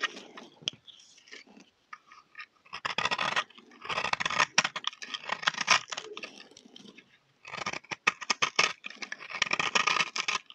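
A utility knife blade scrapes a solid, round, teal and white bar of dry soap held in the hand, shaving it into crunchy flakes. Bursts of bright, crisp scraping and crunching come in quick strokes, separated by short quiet pauses.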